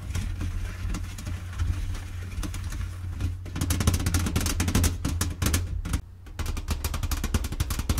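Long-nailed fingertips tap rapidly across the lid of a flat, hollow, blue printed cardboard Mancala box resting on a table, with the game contents inside. The taps give dense, overlapping hollow thumps and bright nail clicks over a steady low hum. The tapping grows busier midway, then pauses briefly near the sixth second before resuming.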